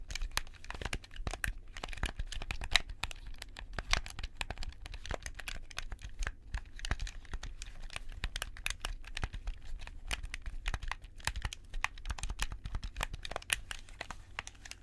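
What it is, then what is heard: Plastic game controller buttons clicking. White-gloved fingertips press and click the buttons of a hollow, black plastic handheld gamepad held close to the left microphone. Rapid, sharp, bright plastic clicks and clacks come in a dense, irregular stream over a steady low rumble, each click dying away almost instantly.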